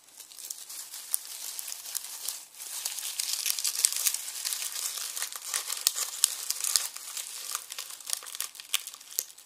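Fingers crumple and tear dry onion skins inside a red plastic mesh bag resting on a wooden board. The result is a dense, continuous run of dry, bright crinkling and crackling with sharp brittle snaps, almost entirely high in pitch with no low end. It dips briefly near 2.5 seconds before continuing at a steady level.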